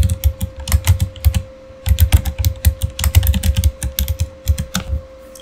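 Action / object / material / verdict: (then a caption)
tap / plastic mechanical keyboard / plastic / none. Fingertips of both hands type quickly on a Razer Fire backlit mechanical keyboard with plastic keycaps, producing bursts of short, deep-thumping key clacks with bright clicky tops. Typing pauses briefly near the two-second mark, then resumes, with a faint steady hum running underneath throughout.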